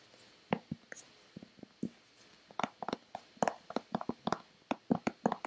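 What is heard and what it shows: A white, hand-sized, hollow Nivea plastic lotion bottle is tapped with long painted fingernails. The dry, clicky taps start sparse and then speed up into quick irregular runs. Each hit has a hollow low thump with a bright click on top and dies away almost instantly.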